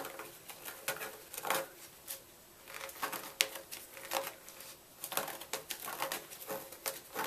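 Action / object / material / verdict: scrape / block of gym chalk / chalk / none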